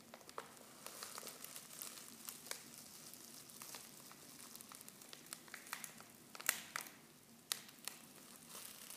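Hands crinkle and squeeze a silver foil Pickwick tea pouch that is half full of loose tea leaves. The result is a steady, bright crinkling hiss with many sharp crackles, and a few louder snaps stand out near the end.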